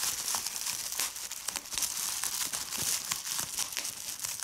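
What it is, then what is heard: Plastic bubble wrap. A large sheet of clear plastic bubble wrap with air-filled bubbles lies on a checked tablecloth and is crinkled and squeezed by fingers with long red-painted nails. The result is a steady, dense, bright crinkling with quick sharp crackles scattered throughout and almost no low end.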